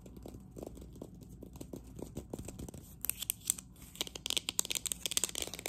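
Long acrylic nails from both hands tap and scratch a hollow, green, matte, textured ceramic cup. Quick, sharp clicks and gritty scraping come first, then turn brighter and denser, with crisp high ticks and rasps in the second half.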